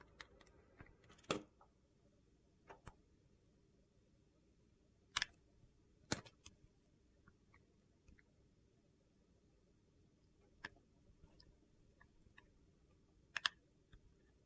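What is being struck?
Glycerin soap bar cut with a metal blade.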